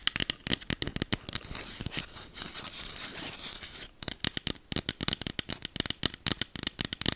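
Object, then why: Small plastic spray bottle. A small green e.l.f. plastic setting spray bottle with a clear cap, held in the hand, is tapped and scratched with long acrylic nails. Quick, sharp, bright clicks come first, then a softer, continuous scratching in the middle, and then rapid tapping picks up again. Each tap is short with no ring.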